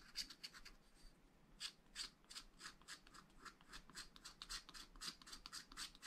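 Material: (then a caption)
Coated paper. A wooden stylus makes fine, fast scratching strokes on the tree area of a black wax-coated scratch art sheet in a flat spiral pad. Quiet, bright, dry scratches come in a steady run of short strokes, each fading almost at once. Faint low background hiss sits under them.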